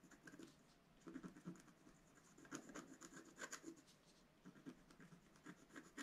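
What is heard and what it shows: A wooden stylus scratches the black coating of a flat, solid scratch art card (black coating over coloured foil paper, about A4) lying on a table. Quiet, dry scratching strokes come in short bursts and clusters, with a gritty midrange rasp and thin bright edges, separated by brief pauses.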